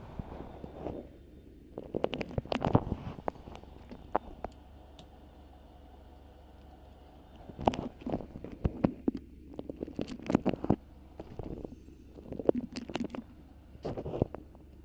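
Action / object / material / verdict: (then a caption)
scrape / beeswax-coated cotton wrap / waxed cotton / none. Long pink nails scratch, grip and crinkle a stiff, colorful patchwork-print beeswax-coated cotton food wrap gathered around the microphone. The result is bursts of crackly, crunchy rustling with sharp bright ticks, separated by quiet pauses over a low, steady hum.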